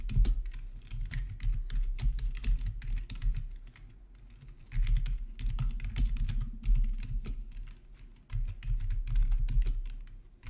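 Both hands type with their fingertips on a plastic RGB membrane keyboard with black plastic backlit keycaps, resting on a marble surface. Quick runs of short, soft tapping clicks over a deep, low thud come in bursts, with quieter lulls around the middle and near the end.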